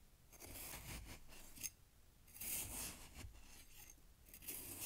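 A knife cuts and scrapes down through fresh snow packed in a glass jar, giving crisp, crunchy bursts with bright, high hiss and soft low thuds underneath. The scraping comes in irregular passes with quieter gaps between them.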